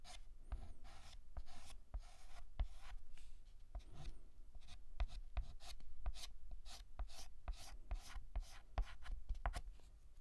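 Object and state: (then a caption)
Chalk writing on a blackboard. A hand draws the letter M with a stick of white chalk on a large, flat, painted black chalkboard. Repeated short, dry chalk strokes scratch and tap against the board, each one a bright, gritty scrape with a faint low knock and almost no ring. The strokes come in a steady, uneven rhythm throughout.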